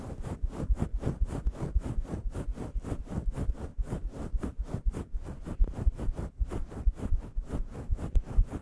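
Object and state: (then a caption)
Faux fur microphone windscreen. Long yellow nails scratch and scruff the synthetic fur of a grey, fluffy faux fur windscreen on a microphone. Rapid, steady, rhythmic strokes come through as muffled, low thumping rubs with a soft, faint hiss over the top, each brushing pass dying away almost at once.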